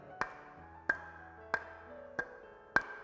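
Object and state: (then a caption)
Good brick with metallic ring. Two clay bricks are struck against each other five times, each hit giving a short, sharp clink with a bright ringing tone around 1.6 kHz. The metallic ringing shows they are good bricks.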